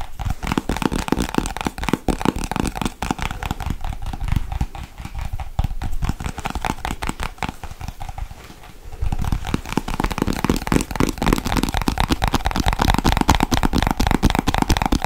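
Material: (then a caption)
Plastic. Long nails quickly tap and scratch a small, hollow, hand-sized white plastic Nivea cream jar with its lid on. The result is a dense, rapid stream of short, dry clicks and scratchy rustles with a low, hollow body. The sound eases off briefly around the eight to nine second mark, then returns louder and busier.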